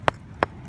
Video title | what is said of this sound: Rock Hounding for Electrical Evidence near “Fossil Rim” Texas | it's solid that is solid rock